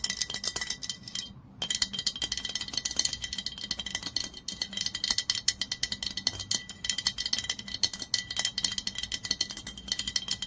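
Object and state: Glass olive oil bottle.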